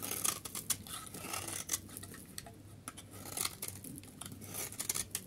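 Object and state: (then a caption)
Dry soap bar being shaved. A metal knife blade shaves the edge of a solid, pale yellow, dry soap bar held in the hand. The result is a run of crisp, dry scraping and crackling strokes with bright, hissy high tones and very little low end. The short flakes crumble off in quick bursts between quieter rubbing passes.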